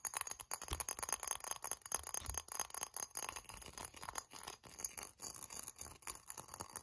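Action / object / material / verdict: tap / hollow glazed ceramic ornament / ceramic / none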